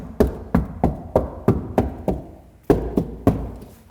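Car door sheet metal with deadening layers, now with Noiseflex also attached, is knocked ten times in a test, giving short, dull thuds that die away quickly with no ringing or rattle. The damping sounds a little better again than the previous stage, and nothing rattles anymore.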